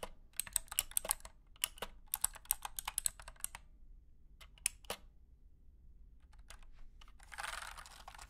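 A wired compact 60% mechanical keyboard with white and blue plastic keycaps and clicky switches, resting on a carpeted surface, is typed on with the fingertips of both hands. Rapid bursts of sharp, bright clicks come in quick runs, then thin to scattered keystrokes after a pause. A brief, broader rustling burst closes the clip.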